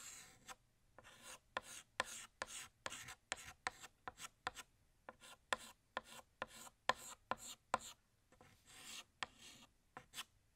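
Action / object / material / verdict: scrape / chalk stick on a slate chalkboard / chalk / none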